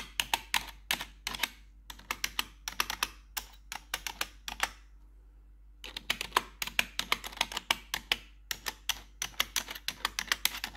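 A single metal claw nail taps individual keycaps on a black plastic RGB computer keyboard, making rapid, sharp, bright clicks with almost no ring. The taps come in quick irregular bursts, stop for about a second in the middle, then resume at the same pace.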